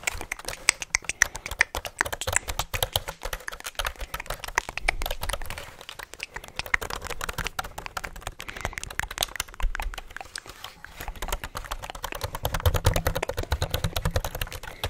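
Fingertips tap and type on the keys of a black plastic ASUS full-size keyboard held close to the microphone, turned both vertically and horizontally. Dense, rapid plastic clicks and clacks run throughout, with short dry key strikes over a soft low thump from the board.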